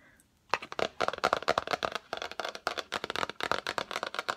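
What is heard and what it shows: Long acrylic nails tap quickly on the lid of a yellow Fendi cardboard gift box, rectangular and hollow, held in front of the face. After a half-second of near silence, about 23 short, dry, clicky taps follow in a fast, uneven rhythm. Each tap has a hollow midrange knock with a bright edge and dies away almost instantly.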